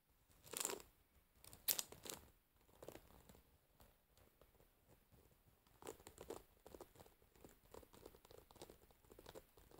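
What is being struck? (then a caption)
Wooden paddle hairbrush with metal pins. Long fingernails on both hands scratch and pluck through the dense metal pins of a wooden paddle hairbrush lying pins up. The result is a bright, crackly, crinkling rasp, with a few louder scraping bursts early on, then a steady run of quieter, quick plucks and scratches.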